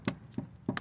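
Four quick taps on a car's underbody panel while checking for a place to put the jack. The taps are dull, hollow and low-pitched, dying away almost instantly. They sound like nothing solid is there, so this spot is not a suitable jacking point.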